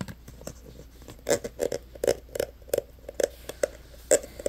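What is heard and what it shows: Fingertips and nails tap the body and green pump cap of a clear plastic hand sanitizer bottle full of green gel, held in the hands. The result is an irregular run of quick, dry clicks and light knocks, each with a short hollow tone near 600 Hz and a bright tick, over quiet background.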